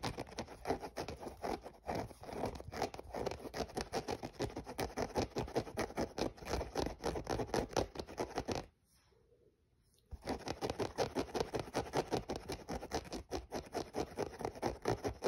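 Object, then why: Synthetic mesh running shoe. Fingernails scratch the mesh upper and the synthetic overlay near the laces of a hollow, empty grey mesh running shoe. The result is dense, rapid, dry scratching with a papery, tearing texture centred in the low-mids around 500 Hz. It breaks off into near silence from about 8.7 to 10.2 seconds before resuming just as busily.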